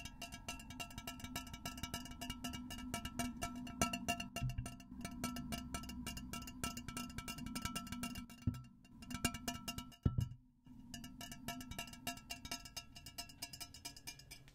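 A tall, hollow, empty, clear glass pitcher with a glass handle is held over the microphone and tapped on its sides with fingertips and nails. A steady stream of quick, light taps gives short, bright glassy rings over a low hum, with a couple of brief pauses and one louder knock near the end.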